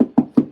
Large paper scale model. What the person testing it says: Everything I build is hollow.